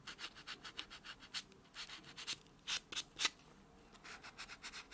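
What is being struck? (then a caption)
Natural fingernail and foam nail buffer. A white solid foam nail buffer block is rubbed back and forth on a natural fingernail, with the hand lying flat on a dark surface. About fifteen quick, soft, airy buffing strokes are heard, bright and hissy with almost no low end, each fading almost instantly. Some strokes are louder, and there are brief pauses between groups of strokes.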